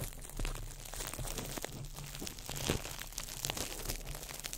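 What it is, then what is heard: Crumpled plastic wrap. A small ball of crumpled clear plastic wrap is crinkled by fingertips over the mic. It makes a dense, continuous crackling with quick bright snaps scattered throughout, over a steady low hum.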